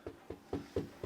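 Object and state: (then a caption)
Carpeted suspended timber floor that sounds solid. Five dull, short taps on a new carpeted floor laid over timber floorboards on joists, a raised suspended floor. The taps give low thuds around 400 Hz with little ring, and the floor sounds solid.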